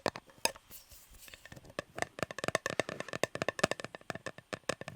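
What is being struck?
Metal cake tin.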